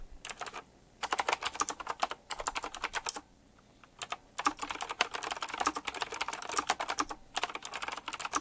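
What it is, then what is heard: Mechanical keyboard with round plastic keycaps being typed on. Fingertips type quickly on a full-size typewriter-style mechanical keyboard with round black plastic keycaps, chrome-look rims and a metallic frame. Bursts of sharp, bright clicky keystrokes come in fast runs separated by brief pauses, with almost no low end and each click dying away instantly.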